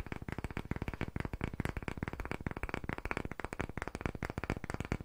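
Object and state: Round wooden block, fast tapping.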